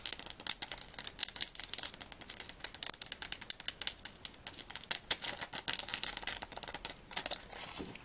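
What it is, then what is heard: Plastic and foil blister pack. Long nails tap and click quickly on a small pill blister strip, its clear plastic bubbles over an aluminium foil backing and still filled with white tablets, held in the hands. A fast, uneven run of dozens of sharp, dry, bright clicks and light crinkles comes through with almost no low end and no ring after each tap.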